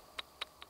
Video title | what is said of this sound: Sofirn SP31V2 Flashlight review with discount code | the battery that that comes with it it just has like a half a millimeter of play in there in the tube and that's that little sound you're hearing